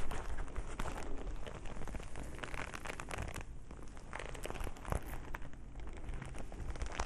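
A single soft, hollow black leather glove, held in front of the body, is squeezed, rubbed and scratched with bare fingertips. The result is a steady, dense crackling and crinkling rustle over a low, muffled rumble, with brief brighter scratchy flicks scattered throughout.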